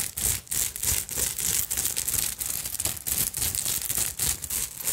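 Long acrylic nails scratch and tap quickly over a small, hollow black vintage evening purse covered in glass beads, sequins and bead fringe. The result is a dense, bright, crackling rattle of beads and sequins in rapid, uneven strokes, with short dry clicks and little low-end body.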